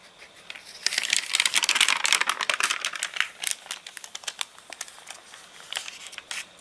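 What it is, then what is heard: Rain-dried, stiff crinkly paper catalogue. Fingertips and a palm rub, flatten and lift the wavy, stiff pages of a thick glossy paper catalogue lying open flat, dried crinkly after getting wet in rain. A dense burst of bright, dry crinkling and crackling builds in the first seconds, then thins into scattered sharp, quickly fading crackles. There is almost no low end.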